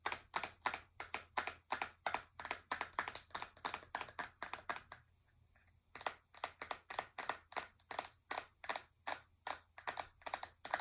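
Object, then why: Plastic eyeshadow palette case. Long nails tap along the surface and edges of a flat, hollow, translucent pink plastic eyeshadow palette case. A rapid series of sharp, bright clicks stops briefly around the middle, then resumes at the same quick pace. Each tap dies away almost instantly.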